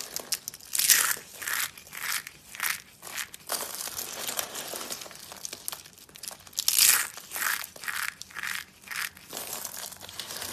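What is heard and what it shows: Both hands press, squeeze and crush a bowl of small, brittle pink dry soap shavings and flakes with their fingertips. This produces bursts of bright, dry crunching and crinkling that swell and fade in repeated waves, with no low end.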